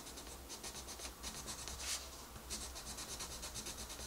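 A dark wooden colored pencil is rubbed back and forth across a flat paper coloring book page while coloring. It makes a quiet, steady run of bright, scratchy strokes that pulse rhythmically, with a low hum underneath.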